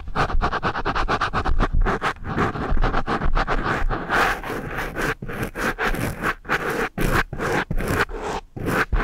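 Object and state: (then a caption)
Foam microphone windscreen being scratched. The rubber eraser ends of two pencils with metal ferrules rub and scratch a dark foam microphone windscreen, while a second microphone beside it goes untouched. The sound is a dense series of rapid scratchy strokes with a heavy, muffled low thump. Quick short rubs at the start give way to longer, broader scrapes.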